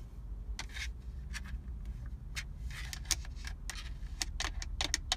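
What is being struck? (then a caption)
Hard plastic car radio faceplate. Long acrylic nails and fingertips tap and scratch across the hard plastic radio/CD faceplate, with its buttons, on a car's centre dashboard stack. Quick, bright, dry clicks and brief scratchy strokes sound over a steady low rumble.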